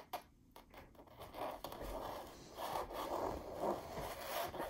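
Long pink nails scratch and trace across a white and yellow floral painting on canvas hanging against an orange wall. The result is a soft, dry scraping and rubbing that rises and falls in uneven swells, with a few sharper clicks at the start.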